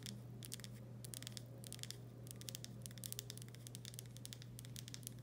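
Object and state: Glass pickle jar.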